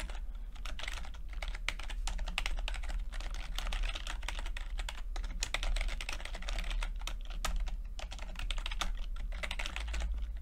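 Fingertips of both hands type continuously on a full-size plastic computer keyboard with red and blue backlit keys and low-profile keycaps. The result is a dense, steady stream of short, bright clicks and taps over a constant low hum.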